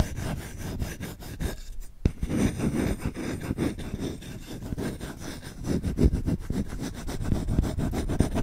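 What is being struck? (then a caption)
Wooden spoon. Short-nailed fingertips scratch fast and hard across the bowl and handle of a solid wooden spoon, making a dense, rapid run of dry, raspy strokes. The scratching is mostly low and thudding with little brightness, and it pauses briefly near two seconds before resuming at an uneven, busy pace.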